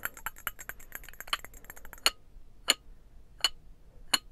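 A small, hollow, painted ceramic birdhouse-shaped trinket box is held in both hands and tapped and scratched with the fingernails. A quick, dense flurry of light clicks and scratches gives way to four separate, sharper clinks. Each has a bright, glassy ring around 2.9 kHz that dies away almost instantly.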